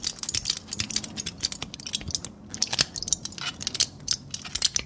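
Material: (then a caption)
Aluminium foil. A sheet of crumpled thin aluminum foil is held in both hands, squeezed, crinkled and tapped with the fingernails. It makes a dense run of sharp, bright crackles and clicks, almost all high-pitched with very little low end. Each snap dies away instantly, leaving a dry, rapid, uneven patter throughout.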